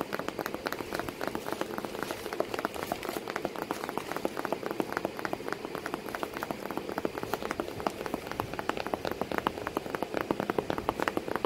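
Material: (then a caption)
Cardboard. Continuous rapid tapping on a cardboard box with a cat sitting inside it. The taps are short, dry and papery, centred in the midrange with little deep bass, forming a steady patter like rain on a surface.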